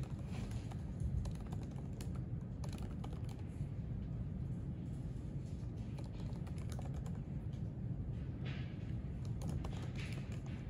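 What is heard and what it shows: Fingertips type continuously on the plastic keys of a silver aluminium MacBook laptop resting on a white desk. Soft, steady key clicks run throughout, with brief bright ticks over a dense low rumble that dominates the sound. The level stays even from start to finish.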